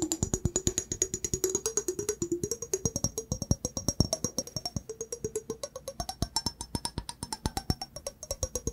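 An empty, hollow clear glass mug with a handle, held in one hand, is tapped rapidly with fingertips and nails, giving a steady stream of about 74 short, crisp clicks and taps over nine seconds. Each tap dies away almost at once, with a faint glassy tone under the taps that slowly rises in pitch and a thin, high ring that persists above them throughout.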